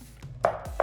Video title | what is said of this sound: We fixed the DEBONDED tiles cheaply : How to Fix LOOSE bathroom tiles | you start to hear another sound and this is where the tile is not properly glued down